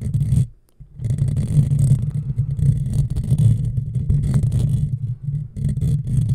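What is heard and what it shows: Long fingernails on both hands scratch close up over a hollow black metal mesh microphone grille, making a dense, continuous low rumbling scrape with faint bright crackle on top. The scratching pauses briefly near the start, then carries on steadily to the end.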